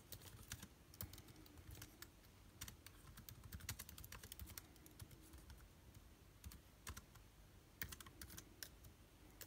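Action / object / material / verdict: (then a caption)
tap / plastic laptop keyboard / plastic / none. Fingertips of both hands type on a backlit MacBook Air keyboard with plastic keys, making a steady run of quick, bright clicks and taps. Each keystroke stops almost instantly over a soft, low background rumble.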